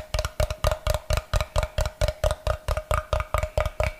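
Fingernails tap and scratch the face of a brick-sized solid block of unfinished light wood held up beside the mic. About 19 quick, hollow knocks come in a steady, slightly uneven rhythm, each with a brief woody ring near 610 Hz and a heavy low thump. Faint brighter scratching sounds between them.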